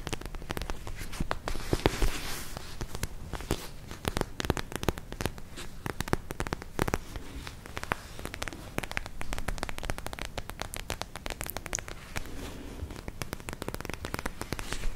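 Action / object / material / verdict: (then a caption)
scrape / soft plastic gel ice pack / plastic / none. A palm-sized, soft, clear purple plastic gel ice pack with glitter beads is squeezed and scratched with long nails. A dense, steady stream of crackly, crinkling scratches and sharp little clicks runs throughout, with a heavy low squelchy body under bright, brittle edges.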